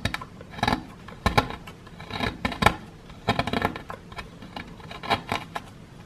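A wooden stick scrapes and chips at the lower edge of a solid plaster excavation block held in one hand. Irregular bursts of dry, gritty scraping and sharp little clicks come in clusters, bright and crumbly with almost no ring, separated by quiet pauses.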